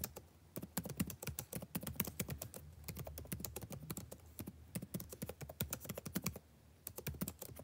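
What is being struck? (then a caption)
Plastic laptop keyboard. Fingertips tap rapidly across a backlit laptop keyboard with plastic chiclet keys, typing steadily on the same keyboard throughout. Each keystroke is a short, dull click with a low thunk and a little bright tick. The typing runs in dense bursts with brief pauses between them.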